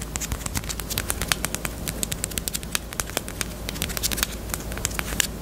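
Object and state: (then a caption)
Hollow plastic lip balm case. A small, hollow, pink hard-plastic bunny-shaped Peep chapstick case, kept closed, is tapped rapidly with long nails. The result is a dense run of short, dry, bright clicks with almost no ring, over a low, steady hum.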